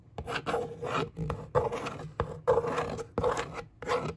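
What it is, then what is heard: Cardboard box scratched and rubbed. A long fingernail traces and scratches across the hollow top of a brown corrugated cardboard box, and an open hand rubs across the surface. Repeated rasping strokes start and stop in quick bursts, each carrying a hollow, boxy resonance.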